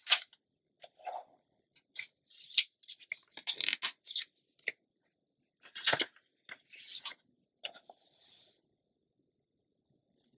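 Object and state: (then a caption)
Glossy paper magazine. Fingertips and long nails rub across the glossy pages of an open glossy paper magazine lying flat, then turn the pages. The result is a run of bright, crisp swishes, scratchy scrapes and papery rustles with almost no low end. Quiet gaps fall between the bursts, and the clip ends in near silence with one faint tick.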